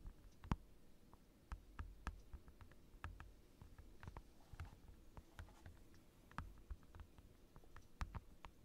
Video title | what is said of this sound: ASMR Tapping Heaven | It's like a giant rectangle of acrylic, and it makes incredible tapping sounds.